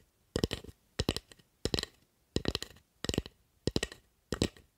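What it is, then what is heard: Wooden spatula. Long acrylic nails tap and scratch a light-colored, solid, carved wooden spatula held in one hand, working along its flat blade and handle. Short, dry clicks come in seven quick bursts of several taps each, with a bright edge and almost no ring.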